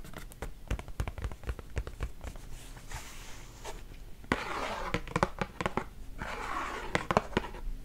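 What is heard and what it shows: Long nails tap and scratch the sides of a hollow Wasa cardboard crispbread box. Quick, dry taps with a low thud fall throughout, mixed with bursts of rough, papery scratching, and the sound grows louder about halfway through.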